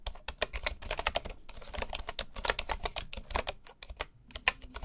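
Both hands type with their fingertips on the wooden keys of a full bamboo keyboard. The result is a rapid, steady stream of short, dry, bright clicks with soft low thuds beneath them, each one dying away almost instantly.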